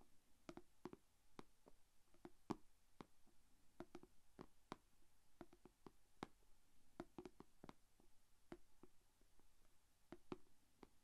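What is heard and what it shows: Long dark-painted fingernails tap and scratch the closed lid of a small, shallow, rectangular clear plastic food container holding glitter slime and resting on red fabric. Many quiet, sharp clicks sound at an uneven pace, each with a low hollow body and a very short, dry decay, over a faint low background hum.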